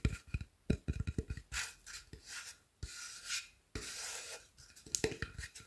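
Fingertips and nails scratch and rub along the edge and surface of a solid pine-like wooden plank with a drawn face. Quick, low knocking taps come first, followed by longer, bright, rasping strokes that swell and fade, ending in a final flurry of taps and scratches.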